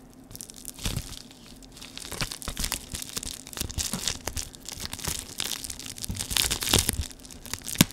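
Fingers crinkle and crush a clear plastic air-cushion packaging sheet with a grid of cells, held in both hands. The result is a dense stream of bright, dry crackling and crinkling with short snaps, swelling and easing in loudness. A few sharper pops stand out near the end.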